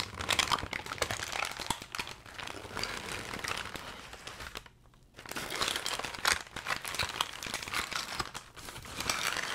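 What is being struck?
Kraft packing paper.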